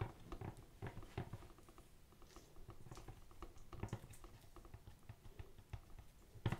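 Fingertips in white latex gloves tap and scratch a tall, hollow, black-and-white printed cardboard product box held close to the microphone. The result is a quiet run of soft, low, hollow patters and scrapes with brief dull knocks scattered throughout.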